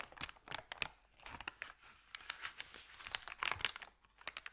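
Fingertips press and rub a thin, empty, crumpled white Subway paper bag lying flat on carpet. The result is bright, dry crinkling in quick irregular bursts with almost no low end. Each crackle stops almost instantly.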